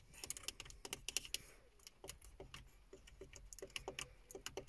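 Long fingernails tap a hollow, silver-grey plastic car stereo faceplate with small buttons. The result is an uneven run of quick, bright, dry clicks with almost no ring, like typing. A faint low hum sits underneath.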